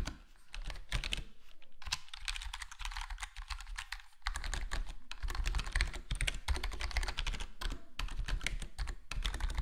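Fingertips of both hands type and tap on a full-size black plastic HyperX Alloy Core gaming keyboard with square plastic keycaps and a foam-dampened (foam mod) case. The result is a steady stream of rapid, short, muted clacks with a deep, thumpy body and quick decay.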